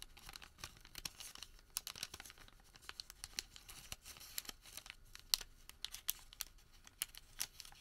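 A thin printed thermal paper receipt is rolled into a tube, twisted and crinkled with bare fingertips. The result is a dense, bright, papery crinkling with many sharp, quick crackles and tearing-like rustles and little low end.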